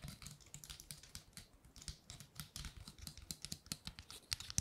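Long nails flick and scratch across the woody scales of a large, dry, gold-painted pine cone. The result is a quiet, fast, irregular patter of crisp, bright clicks and rasps with a faint low thump under each. Every tick dies away almost instantly.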